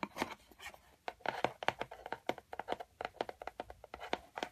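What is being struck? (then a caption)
Corrugated cardboard box. Fingertips and long white-painted nails tap and scratch along the outer surface and edges of a hollow, empty, medium brown corrugated cardboard shipping box with printed lettering. Quick, dry taps with a hollow midrange knock and no ring are interleaved with brief scratchy rasps, close up and quiet.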